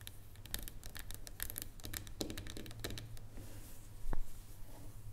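Long nails tap rapidly on the top of a solid dark chocolate bar lying on a wooden table, making a steady run of light, crisp clicks over a low constant hum. One sharper, louder click stands out near the end.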